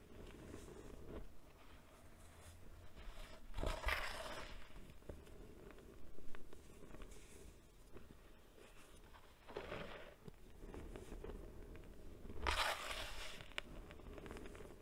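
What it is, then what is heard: Baking soda powder being crushed. Fingertips with long nails dig into white baking soda powder heaped in a large bowl, then both hands squeeze and crush it. Soft, low crunching and scraping continues throughout, with a few brighter gritty bursts around 4, 10 and 12.5 seconds.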